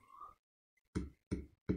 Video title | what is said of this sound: How to create a zen sand table part 1: Basic concepts | then you have much less noise